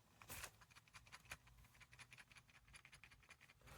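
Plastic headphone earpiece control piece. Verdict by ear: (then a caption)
Loose. The loose plastic control piece on the right earpiece of JLab Rewind 2 wireless retro headphones, which handles the virtual assistant and track changes, is shaken while the headband is held still. It gives a rapid series of light, bright plastic clicks and rattles. The piece is entirely loose and annoying, unlike the solid left side.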